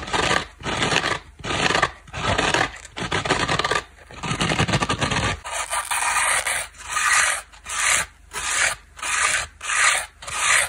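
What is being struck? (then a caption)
Foam kitchen sponge with scouring pad. Long black nails scratch and rub a small dry layered dish sponge, with a yellow foam core, black scour layer and blue cloth face, working over the scour pad and the yellow foam edge. This makes repeated raspy, bright scratching strokes with short pauses between them. The early strokes sound fuller and denser, and the later ones turn thinner, crisper and more evenly spaced.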